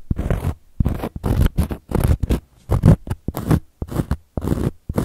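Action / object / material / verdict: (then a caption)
scrape / cork coaster / cork / none. Long gold metal claw nails scratch across a round, flat, solid cork coaster in a series of quick, separate strokes. Each stroke is a dry, raspy scrape with a dull, low-heavy body and almost no ring, separated by brief silences.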